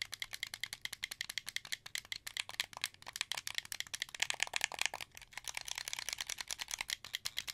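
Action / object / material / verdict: tap / plastic game controller buttons and triggers / plastic / none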